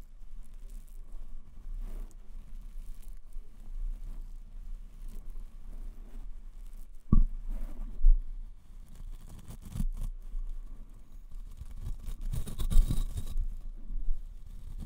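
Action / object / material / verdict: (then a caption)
tap / foam microphone windscreen / foam / none. Fingertips tap and rub a white foam windscreen on a microphone held in both hands. Low, muffled thumps and soft scratchy rustling fill the clip, with a few sharper, louder taps standing out near the middle and toward the end.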